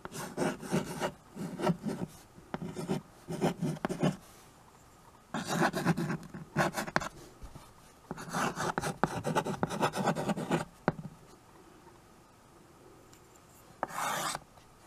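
White chalk held in the fingers is written across a small handheld chalkboard with a wooden frame. Bursts of dry scratching strokes come in several groups separated by pauses, with a short final stroke near the end.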